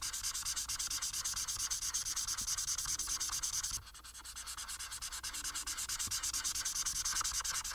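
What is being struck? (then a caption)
Marker tip on a paper sheet. A marker tip colors a flat paper sheet resting on a table, making a continuous bright, hissy rubbing with quick back-and-forth strokes. The scratchy strokes keep an even pace, briefly soften and thin out just before the midpoint, then build back to full strength.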